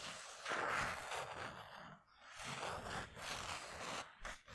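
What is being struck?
Polyester mesh basketball jersey.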